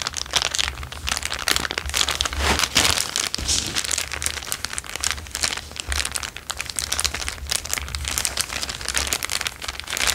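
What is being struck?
Thin clear plastic bag.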